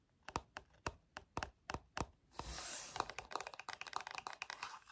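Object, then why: Plastic TV remote control with rubber buttons. A black plastic TV remote control with rubber buttons is handled at its back while fingertips press and click the buttons repeatedly. Spaced, sharp, dry clicks are followed by a brief bright, rustling scrape of handling, then a faster, denser run of clicks.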